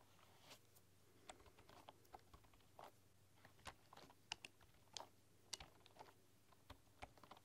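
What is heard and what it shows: A full-size bamboo computer keyboard with wooden keys is typed and tapped with fingertips and long nails, giving about sixteen sharp, bright, dry clicks at an irregular, unhurried pace. The quiet taps die away instantly over a faint steady low hum.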